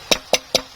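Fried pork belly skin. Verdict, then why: Crisp. Three short, dry knocks ring out from the skin of fried, drained pork belly as it is tapped on a tray. Each knock is crisp, hollow and wood-like, with a bright top and almost no low end, and it dies away almost at once. The skin sounds hard and crispy.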